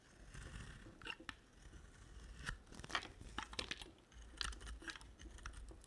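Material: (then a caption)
Soap. A utility knife blade shaves the red outer layer off a rectangular solid white bar of soap. It makes a run of crisp, dry scraping and crunching strokes, with bright short bursts over a low background rumble. Each stroke dies away almost at once.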